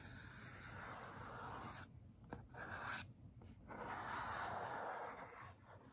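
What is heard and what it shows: Fingertips and nails scratch and rub across the printed side of a tall, closed, black printed cardboard Yeti microphone box held upright. A soft, papery rasp is heard, broken by brief pauses and a single light tap.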